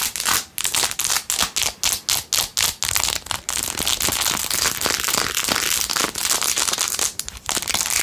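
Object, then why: Plastic phone case covered in rhinestones. Long nails scratch fast over the rhinestones of a blue-jeweled plastic phone case, making bright, crisp, crinkly scraping. Short rhythmic bursts open the clip, then merge into a steady, dense high-pitched scratching with little low end.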